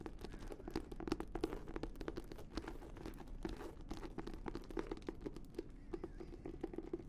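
An embossed red leather notebook is moved near the mic while long nails scratch and tap its cover. The result is a quiet, dense stream of dry, short scratches and soft taps with a low-mid body and crisp, bright clicks on top.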